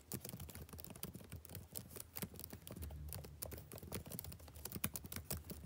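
Fingertips type rapid taps on the plastic keys of a backlit laptop keyboard. The quiet, steady stream of short clicks has a soft low thump under bright, crisp ticks that stop dead with no ring.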